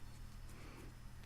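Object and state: Nothing is struck.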